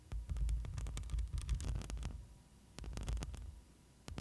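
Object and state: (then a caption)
Metal microphone mesh grille being scratched. Long pointed nails scratch the black metal mesh grille of a hollow studio microphone, first with one hand and then with both. The close contact produces a deep, rumbling, throbbing texture dense with low thumps, threaded with brief bright scratchy crackles. It eases into a quieter stretch midway before the scratching swells again.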